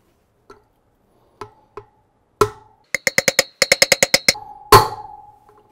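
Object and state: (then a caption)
Fully seated wheel bearing. A steel tapered roller bearing is tapped into the front wheel hub of an R90/6 motorcycle. A few sparse, sharp metallic taps are followed by a quick run of bright, ringing knocks and a final heavier blow. The taps take on a solid tone, showing the bearing is seated all the way in.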